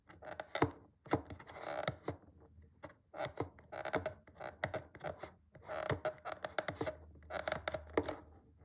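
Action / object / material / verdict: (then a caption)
scrape / small cardboard box / cardboard / none. A thumb and fingertips scratch and rub along the yellow side edge of a small, flat, closed printed cardboard retail box for a BlackWeb glass screen protector for the iPhone SE 2.0, iPhone 7 or iPhone 8. It makes quiet, dry papery scraping in bursts, with many sharp, bright ticks and taps that stop almost instantly with no ring.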